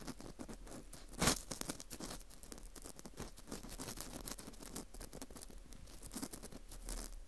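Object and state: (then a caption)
Dried wheat gluten fu ring. An orange plastic earpick scrapes inside the center hole of a dry, porous dried wheat gluten fu ring slice. The result is soft, dense scratching and crackling with bright, crisp ticks, and one louder crunch near the start.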